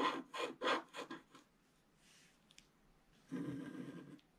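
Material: Waxed paper.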